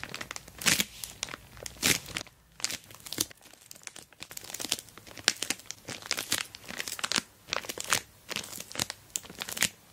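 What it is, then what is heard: Plastic mailer bag over a box. Long black nails scratch and fingertips rub the surface of an orange glossy plastic mailer bag wrapped tightly around a dash cam box. Bright, dry crinkling and scratching comes in quick, uneven bursts with almost no low end. Each burst stops sharply with no ring.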